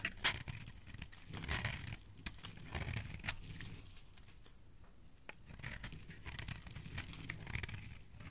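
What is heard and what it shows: A metal blade carves curls from a solid pink bar of soap held in the hand. It makes soft, crisp scraping and crackling strokes with bright, papery texture over a low, dull rumble. The shavings rise and fade in uneven bursts throughout.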